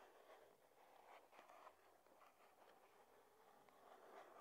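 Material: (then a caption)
Cardboard. Long nails tap on the top of a small, flat, white cardboard box for a charging cable that sits hollow on a wooden table. The quiet, rapid, uneven taps have a soft papery knock centered in the midrange, with little low or high content and almost no ring.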